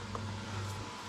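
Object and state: Nothing is struck.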